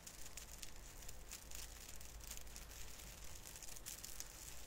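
Fingertips pinch and rub the branch tips of a small artificial fir tree with thin plastic needles set above cotton snow. The result is a soft, steady, bright crinkling and rustling with faint crackles throughout, over a low background rumble.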